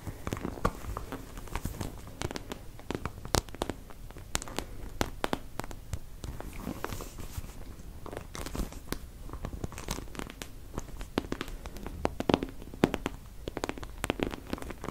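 Long dark-painted nails scratch and tap across the ridged surface of a hand-sized, two-half plastic anatomical brain model, likely hollow, held in both hands. A dense, continuous stream of dry scratching and crinkly rustling is punctuated by many sharp, bright clicks and taps with almost no ring, over a soft low-end body.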